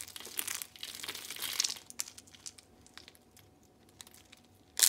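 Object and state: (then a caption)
Dry soap sheets being crushed. Dry pink soap slices are crushed in the fist and fingers, with flakes piling up on a striped cloth. Bright, dry crinkling and crunching fills the first two seconds, then thins to scattered small crackles. A sharp, loud crunch lands at the very end.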